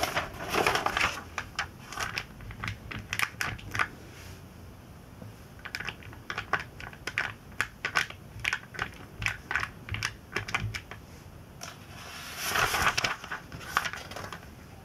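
Fingertips rub, bend and turn the thin glossy pages of a vintage Sports Illustrated magazine lying open flat. Quick, bright paper crinkles and taps come in clusters. Fuller rustling bursts of page-turning come near the start and again around twelve to thirteen seconds.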